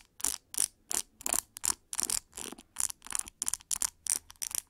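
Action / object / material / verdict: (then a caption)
scrape / plastic paddle hair brush with rubber cushion and plastic pins / plastic / none. Long nails rake and scratch through the many plastic pins of a large metallic pink plastic paddle hair brush with a white rubber cushion. About 16 short, bright, crackly scratching bursts come in a quick, uneven rhythm. Each stroke is dry with no ring and almost no low end.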